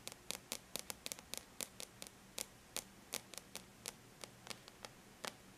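Long bare natural nails lightly tap a flat silver-gray computer surface, likely an aluminum laptop lid. About two dozen quiet, sharp, bright clicks stop instantly with no ring, in an uneven rhythm over a faint steady hiss.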